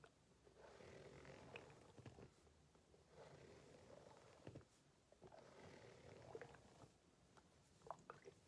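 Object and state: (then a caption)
Rubber hot water bottle. Fingertips and long painted nails rub and scratch the ridges of a green ribbed rubber hot water bottle lying flat and apparently empty. The result is a soft, low rasping texture that swells in repeated waves, with occasional sharper clicks of nail on rubber.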